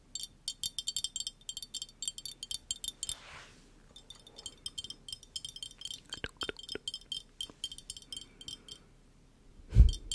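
Long nails tap rapidly on a small, hollow, empty-looking glass bottle with a metal lid and a straw, making bright, short glassy clinks that sound almost like wind chimes. The tapping pauses briefly with a soft breathy swish around three seconds, resumes in quick bursts, and ends with a loud, low thump.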